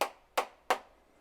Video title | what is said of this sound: How to soundproof a campervan using Kiravans Sound Blocker | there's really no, there's no resonance coming off that one at all. That's a dead sound